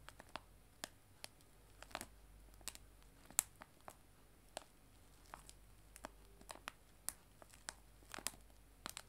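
Long nails tap and scratch a clear cellophane bag of loose dried tea lying flat on a table. About twenty quiet, sharp crinkly clicks and scratches stand out over a soft hiss, with a bright edge and no ringing after each touch.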